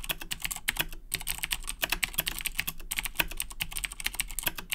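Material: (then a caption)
Plastic. Both hands type steadily with their fingertips on a black plastic Razer Blackwidow 2010 Edition mechanical keyboard with Cherry MX Blue switches. The result is a fast, continuous stream of sharp, bright clicks centered around 2.5 kHz over a low thud from each keystroke, with each click dying away almost instantly.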